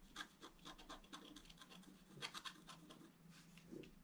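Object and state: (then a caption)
Scratch art paper card. A wooden stylus scratches quick back-and-forth strokes on the central column of a flat, black-coated scratch art paper card. The result is a series of short, dry, bright rasping scrapes at an uneven pace, with a faint steady low hum underneath.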